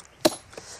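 A large natural stone slab of about 2 square metres is struck to split it from its rock bed, giving a sharp, bright hollow crack followed by a second, softer tap. The slab sounds hollow because it is separating from the bed, and it comes away cleanly.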